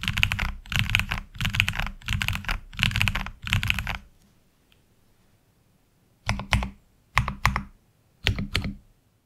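Fingertips type on a HyperX Alloy Origins Core tenkeyless mechanical keyboard with black ABS plastic keycaps resting on a desk mat. Rapid, clacky bursts of keystrokes with a low thock and bright clicks run for about four seconds. After a short pause, only a few sparse pairs of strokes follow toward the end.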